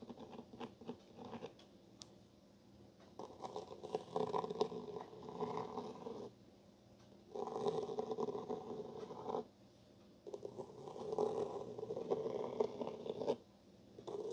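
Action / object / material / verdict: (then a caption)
scrape / cloth-bound hardcover book cover / cloth / none. A capped black pen tip traces and scratches across the textured cloth cover pattern of a solid gray and blue cloth-bound hardcover book lying flat on a wooden table. Light, sparse scratches at the start give way to three longer bursts of dense, raspy midrange scraping, separated by quiet pauses.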